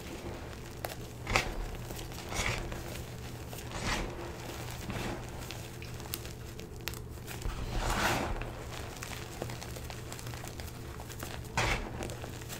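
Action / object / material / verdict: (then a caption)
scrape / gym chalk powder and lumps (magnesium carbonate) / chalk / none. Fingers press, squeeze and rub lumps of stale, fine green dyed gym chalk (magnesium carbonate) with small crumbs in a plastic bin, crushing them. Soft, gritty crunching and crinkling bursts rise at intervals over a steady low hum.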